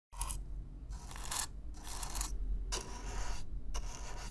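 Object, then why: Corrugated cardboard box. A stiff black-bristle brush is drawn across the surface of a hollow brown corrugated cardboard box up close, producing a series of bright, dry scratching strokes separated by short pauses. A steady low rumble sits beneath the brushing throughout.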